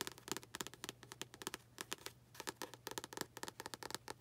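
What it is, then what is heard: Paperback book cover tapped with nails. Long acrylic nails tap and scratch on the front cover of a tilted paperback book with a paper cover. About two dozen quick, dry, bright clicks come in uneven bursts, with soft scratchy rustle between them. Each tap stops almost instantly with no ring, and the overall level stays quiet.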